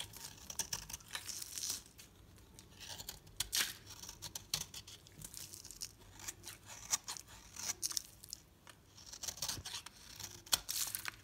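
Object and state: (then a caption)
Bar soap being shaved. A metal utility knife blade shaves and scrapes a solid oval green bar soap held in hand into crisp curls, with the flakes falling onto a plastic tablecloth. The sound is a run of dry, bright, crunchy scrapes and crackles, coming in quick uneven bursts with little low end and no ring between cuts.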